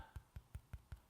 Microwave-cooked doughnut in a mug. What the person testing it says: it's very hollow now so I know it's cooked through